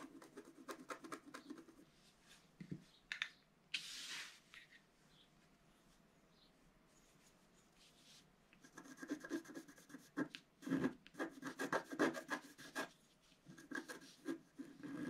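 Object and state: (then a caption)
Stylus scratching a scratch-art card. A wooden stylus scratches the black coating of a flat, solid scratch art card, about A4, made of black coating over coloured foil paper and lying on a table, producing dry, papery scratching strokes. In the middle the stylus is lifted off the card and there is near silence for a few seconds. Then the quick, bright scratching resumes more densely until the end.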